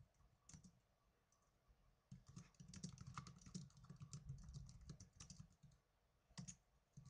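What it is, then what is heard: Plastic netbook keyboard being typed on. Fingertips with blue-painted nails type on the plastic keys of a small black plastic netbook. Sparse, quiet clicks give way to a denser, uneven burst of tapping before it thins out again and ends with a few sharper clicks. Each keystroke has a soft low thump and a brief bright tick.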